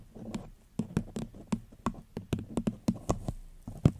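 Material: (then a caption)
Paper. Long fingernails tap on a small, empty, upside-down paper cup with a floral print and a gold rim, set over the mic. They make a quick, uneven series of soft, hollow knocks with a low, dull body around 148 Hz and faint bright clicks. Each tap dies out almost at once.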